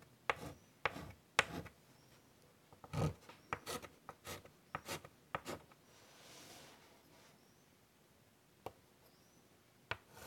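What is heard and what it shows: White chalk draws detail lines on a large wood-framed chalkboard, scratching across the board surface. Short, sharp taps and bright scratchy strokes come in quick bursts, with a softer, longer rasp midway and a few isolated clicks near the end, all fairly quiet.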